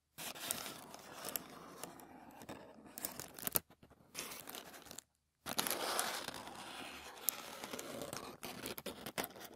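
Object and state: Thin tissue paper.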